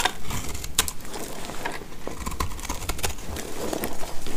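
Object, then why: Bar of soap cut with a blade. A box-cutter blade shaves dry chips off a hand-sized, solid, mint-green speckled soap bar held in the hand. The result is a steady run of dry, crackly scraping and cutting, with short sharp bright ticks over a low rumbling bed.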